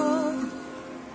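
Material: Nothing is struck.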